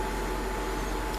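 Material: Nothing is struck.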